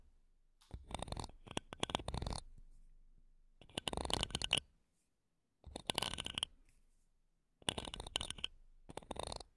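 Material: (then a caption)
Metal mesh. A thin wooden toothpick, held in long-nailed fingers, scratches and taps the mesh grilles of two small silver metal microphones. The sound comes in four bursts of dense, crackling scratches and quick ticks. Each burst is broad and bright, with a metallic edge, and ends abruptly.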